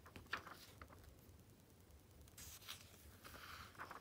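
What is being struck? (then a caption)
Glossy coated-paper magazine. Fingertips turn the pages of an open glossy Vogue magazine, the Activism Now issue, resting on black fabric, then a flat hand rubs over the smooth coated paper. Quiet, bright papery swishes and soft crinkles flick by in short bursts over a faint low hum, with a longer hissing rub in the middle and more light rustles at the end.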